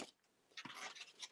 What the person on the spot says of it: ça sonne le sable là, quand on joue avec ça. ... ici, on entend là, le sable.